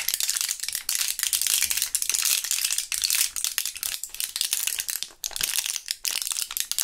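A full plastic-and-foil blister pack of purple Thrills gum is rattled and crinkled with gloved fingertips, flipped between its foil back and plastic front. The result is a steady stream of bright, dry crinkling and rattling with almost no low end, broken by a few brief pauses.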